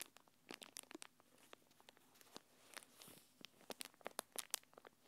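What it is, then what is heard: Plastic packaging film. A thin translucent plastic packaging wrapper is held between the fingers of both hands and crinkled and rubbed with long painted nails. Quiet, bright crackles and crisp crinkling snaps come in irregular bursts, with almost no low end. Each crackle is short and dry with no ring.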